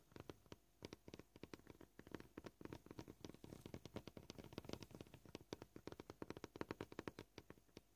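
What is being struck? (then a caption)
Plastic cutting board. Fingernails tap quickly on a solid white plastic cutting board, producing a rapid, uneven run of dry, short clicks with a hollow low-mid knock. Each tap dies away almost at once, and the pace shifts slightly throughout.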